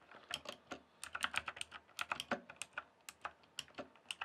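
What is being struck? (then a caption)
Plastic computer keyboard. Fingertips type on a full-size backlit plastic RGB computer keyboard with rainbow lighting. Around twenty short, bright plastic key clicks sound in an uneven rhythm, each dying away almost instantly with little low end.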